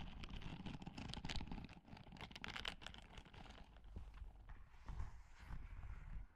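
A white and grey silicone dish-scrubbing glove with a bristle texture is worn on one hand and held close to the microphone while the long manicured nails of the other hand scratch and rub its bristled palm. The result is a soft, continuous run of rustling scratches and quick ticking taps, with a low rumbling body and brighter crackly edges.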